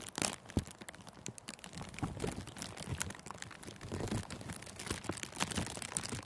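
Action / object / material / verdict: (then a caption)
scrape / clear plastic cellophane wrap scrunched by fingers / plastic film / none. Thin, clear, crinkly cellophane gift wrap is bunched around a furry microphone windscreen and scrunched by the fingers. The result is a steady stream of dense, bright crackles and crinkles layered over soft, low thumps and rustling. It stays close and dry throughout with no pauses.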